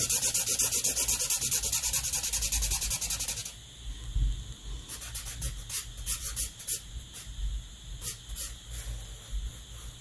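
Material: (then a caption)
Paper. A black Sharpie felt-tip marker is rubbed in quick, short strokes across a flat white paper drawing sheet, making a dense, bright, scratchy rasp for the first three and a half seconds. The marker then draws slower, intermittent strokes, softer squeaky swipes with brief pauses and faint low thumps, possibly with some faint breathing.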